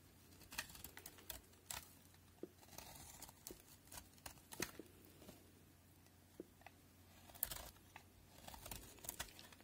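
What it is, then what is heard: Bar of soap being shaved with a knife. A utility knife blade shaves flaky layers off a solid cream-white bar of soap held in the hand. The result is a quiet string of crisp, bright scraping and crackling cuts with short pauses, over a faint steady low hum.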